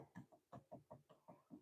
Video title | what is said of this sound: Live Turning bowls and other items #lathe #woodturning #wood #turning #oak #teaching #howto | it sounds hollow right under here